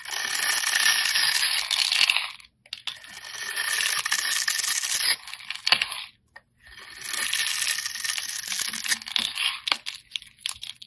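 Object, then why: Bar of soap shaved with a metal blade. A metal craft blade shaves and scrapes crumbly layers off a solid, palm-sized, pink opaque soap bar with a pre-scored top, held in the hand. Bright, gritty scraping comes in three long passes separated by short pauses, with fine crackling flakes throughout and a few sharper ticks.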